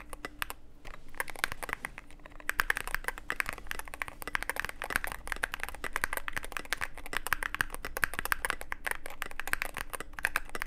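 A Cyberboard mechanical keyboard with plastic keycaps and a dark case is typed on continuously with the fingertips of both hands. It produces a dense, steady stream of short, sharp clacks with a bright edge, over a faint low hum.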